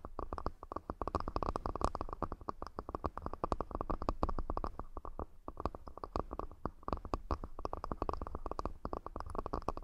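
A wooden accessory box is tapped rapidly and continuously. It gives a dense run of short, dull knocks with a deep, low body, each dying away almost at once, and little bright top.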